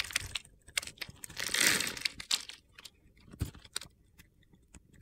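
A metal box-cutter blade scrapes and carves thin, crunchy flakes off the top of a solid rectangular bar of soap with a red glitter crust, held in one hand with long red-painted nails. A series of sharp, bright, gritty scrapes and crackles is heard, with a longer, louder crunching scrape near the middle, and little low-end weight.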